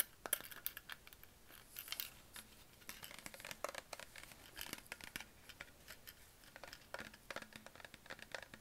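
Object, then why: Plastic water bottle. A hollow green Perrier PET plastic bottle, held at the base, is scratched and tapped with nails and fingertips. The result is a quiet, dense run of short, bright clicks and scratchy rustles with almost no low end.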